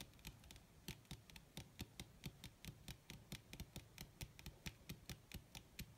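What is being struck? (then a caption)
Leather sheet. Long red nails on both hands rapidly tap and scratch across a flat, wrinkled black leather sheet (possibly faux). About 28 sharp, short clicks with bright tops and a low thud beneath them come at an uneven pace over a soft continuous scratching rustle.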